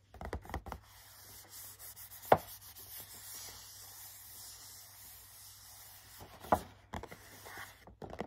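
Fingertips and short nails rub and scratch the back of a hollow, printed cardboard hand cream box. Quick bursts of dry scratching at the start and end frame a long stretch of soft, steady rubbing, broken by two sharper clicks.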